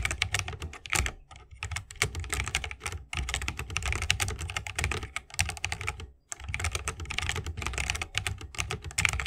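Fingertips of both hands type continuously on a 60% mechanical keyboard with plastic keycaps and Holy Panda tactile switches, set in a bamboo wooden case. The rapid, steady keystrokes combine bright clacks with a deep, low thock, broken by brief pauses around 1.5, 3 and 6.2 seconds.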